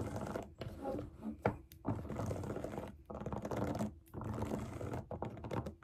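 Long acrylic nails tap, scratch and press the hollow bubbles of a large round rainbow silicone pop it fidget toy lying flat on a table. The result is a dense stream of quick, dull clicks and soft thunks with scratchy rustling between them, mostly low and muted. Each tap dies away almost instantly.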